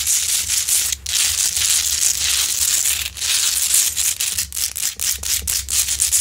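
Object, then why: Rock-salt lamp. Long nails scratch the grainy crystalline surface of a large solid rock-salt Himalayan salt lamp up close. The result is a steady, bright, gritty rasp with almost no low end, broken by brief pauses. It grows into quicker, choppier scraping strokes toward the end.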